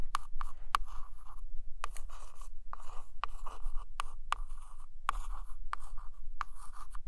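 A single long acrylic nail traces and scratches along the glossy laminated photo cover of a large hardcover book lying flat. Dry scratchy strokes alternate with short sharp ticks, each stroke centered in a narrow midrange band around 1.1 kHz with bright hiss above. The strokes come at an uneven, quick pace over a steady low hum.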